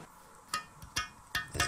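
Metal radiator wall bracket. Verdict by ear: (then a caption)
Tight. A metal radiator mounting bracket, screwed and plugged into the wall, is tapped five times, giving short, bright metallic clinks with almost no ring. The bracket is tight against the wall and sounds solid, as it should when securely fixed.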